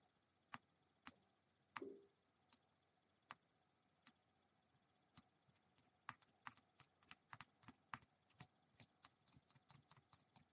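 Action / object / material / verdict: tap / small plastic die / plastic / none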